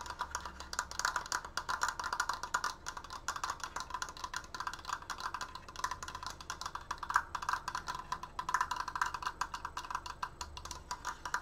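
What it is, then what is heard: Wooden triangle decoration, fast tapping. Fast fingertip tapping on a wooden Triforce decoration gives a steady stream of short, dry, wood-block-like clicks with a bright tone near 1.1 kHz. Each tap dies away almost at once, and there is no ring between strikes.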